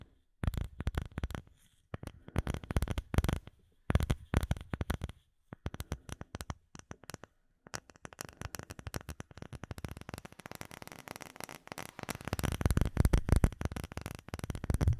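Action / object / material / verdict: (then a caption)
tap / clear acrylic plate with embedded bubbles / acrylic / none. Fingertips and nails tap a flat, solid, clear acrylic plate with embedded bubbles, held behind the microphone. Quick, dry, low thuds come in rapid bursts separated by short silences. Toward the end the tapping turns into a continuous, louder flurry.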